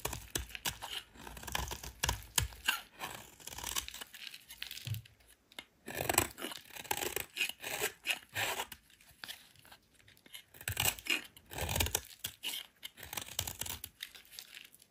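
A solid white soap bar held in the hand is scraped with a metal utility knife blade, shavings falling off. Bright, crisp rasping strokes come in repeated bursts with short pauses between them, sounding like tearing and crinkling. Each stroke dies away almost instantly.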